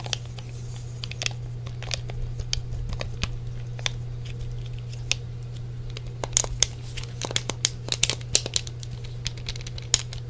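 Fingertips tap the face and grips of a hollow grey plastic Sony PlayStation controller with a cable and press its buttons. Many quick, bright clicks and taps, sparse at first and then denser, sit over a steady low hum. Each tap dies away almost at once.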